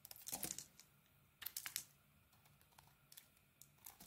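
A small metal blade held in the fingers slices and carves the edges of an orange bar of soap. Bright, crisp scraping and crackling comes in short bursts, with louder clusters near the start and middle and softer ticks in between. Each cut stops dry, with almost no ring.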